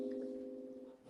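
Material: Nothing is struck.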